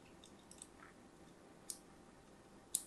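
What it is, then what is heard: Bar of soap being scored with a blade. A thin blade scores lines into the surface of a solid, palm-sized orange-and-white striped soap bar held in the hand. Faint, soft scratching runs underneath a few sharp, bright clicks that cut off almost instantly. The quietest clicks come early and the strongest comes at the end.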